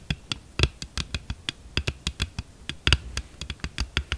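Long nails of both hands tap quickly on the back of a glossy red hard plastic phone case, thin and hollow, lying flat on a table. About 22 sharp, irregular taps each pair a dull low thump with a bright clicky edge and die away almost instantly, with a few louder strikes standing out.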